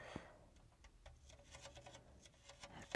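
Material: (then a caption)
Plastic. A small, hollow, empty clear plastic miniature bathtub on little feet is held at its sides by both hands while long painted nails and fingertips tap its rim and walls. The result is a quiet run of short, bright, clicky taps with a light hollow tone that dies away almost at once.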